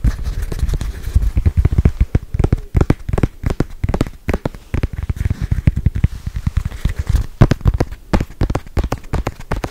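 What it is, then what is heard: Foam stress ball. A small, solid, squishy red foam stress ball with black soccer-ball patches is held in one hand and tapped and scratched quickly with long white nails. The result is a fast, continuous stream of dull, muffled, low thuds that die away almost instantly, with faint scratchy texture between them and almost no bright content.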